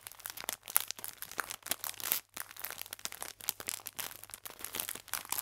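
An elongated clear plastic film pack full of sour cherry biscuits is squeezed and crinkled with fingertips and long painted nails. Dense, bright crackling crinkles come in quick uneven bursts with almost no low end, and each snap dies off instantly. A brief near-silent gap falls just past the two-second mark before the crinkling resumes.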